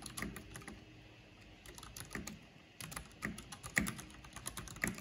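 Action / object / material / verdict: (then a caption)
tap / plastic mechanical computer keyboard / plastic / none. Long painted fingernails and fingertips tap quickly on a full-size black plastic mechanical computer keyboard with a purple backlight and a hollow housing. Fast, irregular clicks and clacks come in quick runs, with a quieter, softer stretch in the middle before louder, sharper strikes return. Each short, dry hit carries a hollow low body under a bright click.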